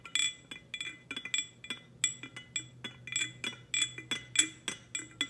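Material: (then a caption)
Glazed ceramic. Long nails tap the lid knob and body of a hollow, glossy black ceramic teapot in a quick, uneven series of about two dozen taps. Each tap is a bright, high clink with ringing tones near 2 kHz that fade almost at once, over a faint low hum.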